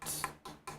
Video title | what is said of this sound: How to Cast Resin Model Kits w/ Casey Love - Monday Night Monster Jam - Ep.17 | You can hear it. It's hollow. So this is a kind of a thick roto-cast bust.